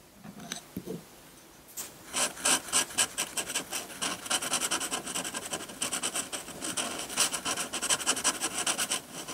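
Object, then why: Metal pen nib on textured drawing paper. A metal dip-pen nib held in the fingertips scratches rapid hatching strokes across a sheet of textured white drawing paper. After a quiet start with a few faint low scrapes, dense, bright, raspy scratches come in quick uneven bursts, about four strokes per second, each one dry and short with no ring.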